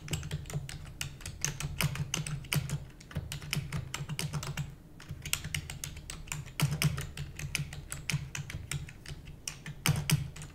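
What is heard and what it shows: Rapid typing on a full-size black plastic computer keyboard with hollow keys, struck by the long nails and fingertips of both hands. Dense, bright, clicky keystrokes rattle over a steady low thudding body, with a brief lull near the middle before the fast typing resumes.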